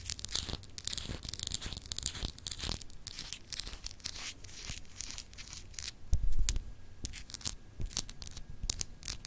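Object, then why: Solid glass globe paperweight with raised etched surface. A small, solid clear glass globe paperweight with raised etched continents is scratched with long acrylic nails. The result is a steady run of dry, bright, rasping scratches with a low rumbling undertone, and a slightly louder burst comes around the middle.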